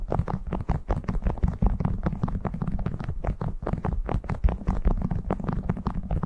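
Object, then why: Waxed cotton food wrap. Fingertips crinkle and rub a printed cotton beeswax food wrap draped over a furry microphone windscreen. The result is a steady stream of short, muffled crackles and soft rubbing over a deep, boomy rumble, with almost no bright content.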